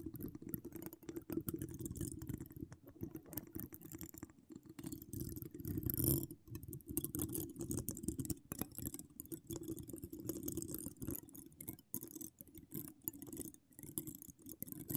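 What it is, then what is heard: Metal mesh microphone grille being scratched. Long acrylic nails with charms scratch across a hollow metal mesh microphone grille. The result is a dense, continuous, low, muffled rasp made of rapid, closely packed scrapes and taps. It swells briefly louder around the middle, then settles back into steady scratching.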